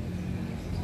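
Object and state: Nothing is struck.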